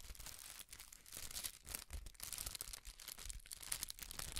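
A folded sheet of red tissue paper is rubbed and crinkled under the fingertips and flapped. The result is a quiet, continuous stream of bright, papery crinkles and rustles, with soft low thumps as the sheet is flapped.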